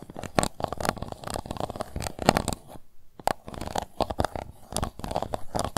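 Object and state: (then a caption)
Plastic cup scratched and tapped with fingernails. Long nails scratch and tap the bottom of an empty, transparent pink plastic cup, making a dense run of crisp clicks and scraping rasps with a hollow plastic tone around 700 Hz. The taps are short and dry, with no ring. The scratching stops briefly near the middle, then resumes just as busily.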